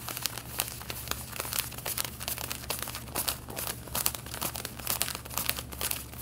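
Long red-painted nails rapidly scratch the back pocket of light blue denim jeans being worn. The result is a dense, bright, raspy scratching made of quick short strokes that rise and fall in bursts, over a steady low hum.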